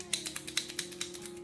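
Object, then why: Plastic glitter paint marker with a mixing ball. A new plastic glitter brush marker is shaken before priming, and the small mixing ball inside rattles in about 11 quick, bright clicks. This shows the ball is there to mix the paint, with steady background music underneath.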